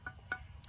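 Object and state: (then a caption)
Sound, uncracked pit-fired earthenware. A pit-fired wild-clay earthenware piece, just pulled from the fire pit, is tapped a couple of times, giving short, quiet clinks with a faint ring around 1.5 kHz. The ringing tone is taken as a sign that the firing was a success, with no cracks in the pieces.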